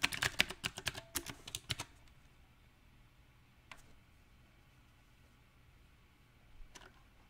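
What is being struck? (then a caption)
Mechanical keyboard with plastic round keycaps. Fingertips of one hand type sparsely on a backlit compact mechanical keyboard with round, typewriter-style plastic keycaps on a silver metal frame. A quick, uneven burst of sharp, bright key clicks fills the first two seconds, then two lone clicks follow after long quiet pauses.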